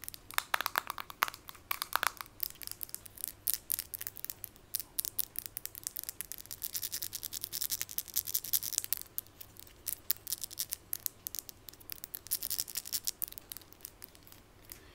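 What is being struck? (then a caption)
Glass jar with plastic screw lid. A glass jar with a black plastic screw lid, filled with a brown powder or scrub, is tapped and scratched rapidly on the lid and the glass with long white nails. The result is a dense run of quick, bright clicks and scrapes with almost no ring. Brief tonal ticks sit around 1.1 kHz early on.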